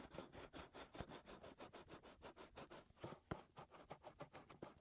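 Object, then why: Silicone microphone ear. Fingertips and short nails scratch and rub inside the white silicone ears on both sides of a 3Dio binaural microphone. About twenty quick, dry scratching strokes follow one another in a steady, quiet rhythm, each with a soft, low, muffled thump and a brief papery rasp. The strokes die away instantly with no ring.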